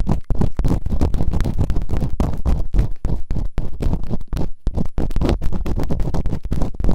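Bamboo earpicks, held in fingertips with long nails, scratch and rub quickly inside the open canals of both solid, rubbery silicone ear models on a white binaural microphone. The result is a dense run of rapid, rough scraping and thudding rubs with a deep, muffled rumble and very little brightness. Each stroke is short and dry, cutting off almost at once.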